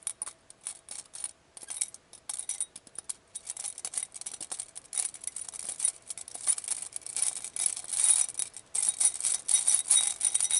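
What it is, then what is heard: Glass vials shaken in a glass bowl. A clear, hollow, round glass bowl or wine glass filled with many small glass vials of glitter and beads is held in the hand, with long painted nails on the glass, and shaken. The vials rattle and clink against each other and the bowl in dense, irregular bursts of bright, very short glassy ticks with almost no low end. The shaking grows busier and louder toward the end.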